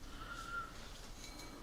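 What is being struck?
Nothing is struck.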